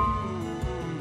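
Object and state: Nothing is struck.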